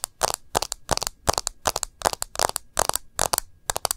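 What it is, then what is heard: Smartphone in plastic case, tapped with nails. Long nails tap the edge and glass screen of a smartphone in a rose-gold plastic case. Rapid clusters of sharp, dry, clicky taps come in quick bursts across the clip, bright and crisp with almost no low end, and each tap dies away instantly.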